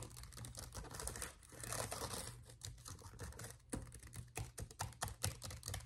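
Fingertips of one hand type on and tap the plastic keys of a black laptop keyboard. Quick, irregular, dry clicks come in bursts, some soft and dense, others sharper and more separated, over a steady low hum.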